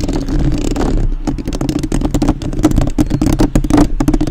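Long nails tap and scratch the metal mesh grille of a black uncovered microphone, first with one hand and then with both. Rapid, dense clicks and scrapes sit over a low, boomy rumble with a steady hum near 300 Hz.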